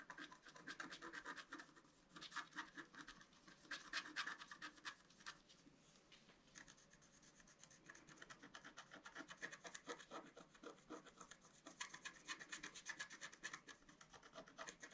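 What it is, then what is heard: Scratch-art card being scratched. A pointed wooden stylus scratches a flat A4-size scratch-art card, with a black coating over a colored foil layer, resting on a table. Quick, dry, bright scratching strokes come in dense rasping bursts, with a softer, slower stretch in the middle before the busy strokes return.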